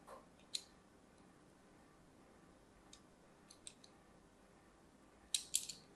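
A thin metal blade cuts diagonal lines into a solid orange-and-white striped bar of soap. It makes brief, bright scratching clicks scattered across a quiet background, with a quick cluster of sharper scrapes near the end.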